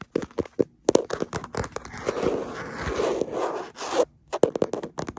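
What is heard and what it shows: Fingertips and nails scratch and tap the back of a printed plastic phone case on a smartphone held in a black mount, close to its microphone. Quick, dry clicks and scrapes open and close the clip, with a denser, continuous scratching stretch in the middle. The sound is crisp and bright with little low end and almost no ring after each touch.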